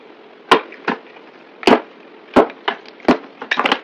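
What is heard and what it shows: A yellow box cutter blade cuts and scrapes chunks off a solid rectangular green soap bar with an embossed face, held in the hand. Short, crisp, crunchy cuts land at uneven intervals with brief dry scraping tails, ending in a quick cluster of cuts.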